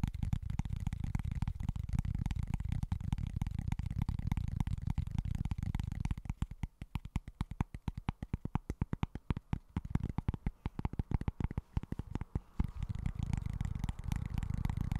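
Fingertips tap and scratch a small, flat, solid cork board held upright. The sound is a dense, soft, low-heavy rustle of rapid tapping for about six seconds, then slower, distinct dull taps, then a dense scratching texture again near the end. Each tap is short and dry with almost no ring.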